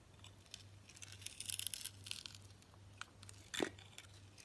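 A utility knife blade scrapes the green glitter crust off an orange soap bar held in a hand with long nails, exposing the orange soap underneath. Bright, gritty scratching and crackling come in clustered bursts over a faint steady low hum, ending with one sharper scrape near the end.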